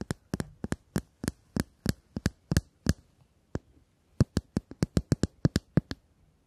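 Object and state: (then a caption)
Metal tube case tapped with nails. A shiny, hollow metal cylindrical tube case is held in both hands and tapped with long acrylic nails. The result is a steady series of sharp, dry clicking taps with a low hollow knock under each one. The taps pause briefly after about three seconds, with a single tap in the gap, then resume more quickly.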